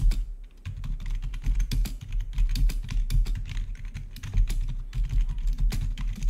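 Fingertips of both hands type rapidly on a full-size black plastic membrane-style gaming keyboard with blue-to-red RGB backlit keys. A dense, continuous run of soft keystroke clicks carries a low, thumpy body under brief, sharp taps.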